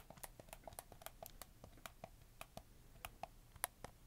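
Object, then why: Hard-plastic handheld game controller. Fingertips press and click the buttons and joysticks of a black, hollow, hard-plastic PlayStation 4 controller, handheld size and held close to the mic, with some tapping on its shell. A quick, uneven string of about eighteen short, dry plastic clicks and taps follows, each dying away almost instantly, with a faint bright edge.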